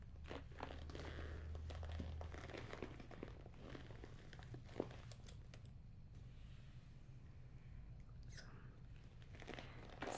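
A medium black leather shoulder bag with a front zip pocket, hollow with no paper stuffing visible, is held on a lap and tapped and rubbed on its front panel with fingertips and nails. Soft crinkling scratches and light taps repeat irregularly over a steady low hum, with a few sharper clicks standing out.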